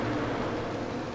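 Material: Nothing is struck.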